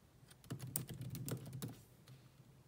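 Long nails and fingertips type with moderate taps on the black plastic chiclet keyboard of a grey laptop. A quick run of short clicky keystrokes carries soft low thuds beneath bright, crisp ticks, each one dying away almost instantly, then thins out to faint taps at the end.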